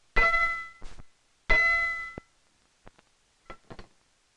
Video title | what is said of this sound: AV Geeks Lunch 3-24 | just listen to its clear ring